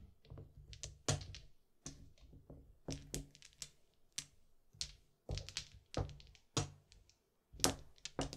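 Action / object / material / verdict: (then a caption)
tap / plastic mahjong tiles on felt / plastic / none. Small solid plastic mahjong tiles are picked up in small stacks with the fingertips, set down on green felt and clicked together into a row. The result is an irregular series of sharp, bright clacks with soft low thunks underneath, each dying away almost at once, with brief quiet gaps between.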